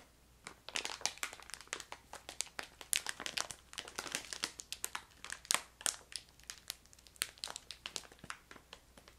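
A hand-sized yellow crinkly plastic bag of ginger candy, filled with candies, is held in both hands and crinkled and squeezed with long painted nails and fingertips. Dense, bright crackling crinkles come in rapid bursts over a faint low hum, with sharp snaps that die away almost instantly.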